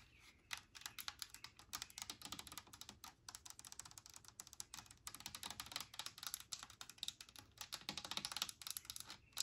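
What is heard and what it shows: Long nails tap rapidly on the label and body of a large blue plastic spray cleaner bottle with liquid inside. The taps form a dense, continuous run of short, dry, bright clicks that stop almost instantly, with little low end.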